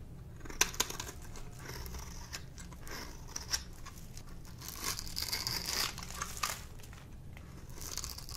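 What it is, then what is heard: Dry soap bar being scraped. A metal blade scrapes and carves the face and edge of a solid, dry pink soap bar held in the hand, and shavings fall off. Dry, crisp scraping and crunching sounds with bright, high-pitched rasps and a few sharper clicks play over a quiet low hum.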